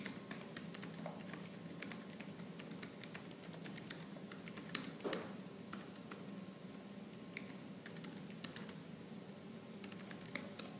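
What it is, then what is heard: Plastic laptop keyboard. Fingertips and nails rapidly tap the black plastic keys of a laptop keyboard, producing a dense stream of sharp, bright clicks over a steady low hum. The quick, irregular taps keep up a fast typing rhythm throughout, with a few louder strikes standing out.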